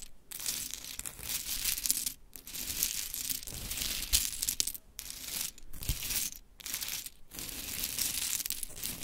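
Long chrome nails rake and pick through a pile of pink wooden mini clothespins resting on glitter fabric. The result is a dense, bright clattering and rustling that comes in bursts, separated by brief quiet pauses.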